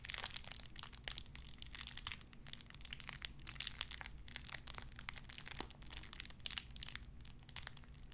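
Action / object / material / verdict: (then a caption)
scrape / small clear plastic bag / plastic / none. A small clear plastic bag wrapped around a tiny white figurine is crinkled and squeezed between fingertips with long red nails. Dense, bright crackling and crinkling comes in quick, sharp bursts that die away almost instantly, over a faint steady low hum.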